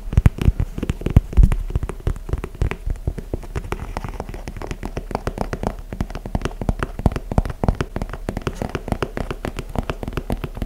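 Fingertips and nails tap and scratch an empty, held-up white and grey leather high-top basketball sneaker in the Jordan 4 style, with mesh panels and plastic wings. Dense, rapid, dull taps and crackly scratches run throughout, mostly low in pitch with almost no ring.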